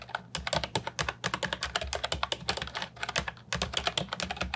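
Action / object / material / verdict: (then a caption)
tap / plastic mechanical keyboard with round keycaps / plastic / none. Fingertips type continuously on the round plastic keycaps of a brown and white Ajazz 308I retro mechanical keyboard with a hollow plastic body, resting on a wooden desk. A rapid, uneven run of bright, sharp clacks comes in quick bursts with short pauses, each keystroke dying away almost instantly over a faint low hum.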